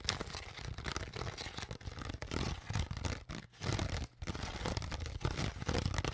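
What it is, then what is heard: Crushed plastic water bottle. Long nails scratch and tap the crinkled surface of an empty, partly crushed, hollow clear PET plastic water bottle while hands squeeze it. The result is a dense stream of crackling crinkles and scratchy rasps over a dull, hollow low thump, with brief quiet gaps near the middle.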